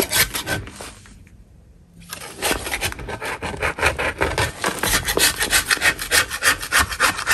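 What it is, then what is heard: Chalk block being scraped. A gloved hand scrapes a flat, solid chalk block with a metal putty knife, piling up dust. A few gritty, bright scrapes come first, then a short pause, then a steady run of quick, rasping strokes.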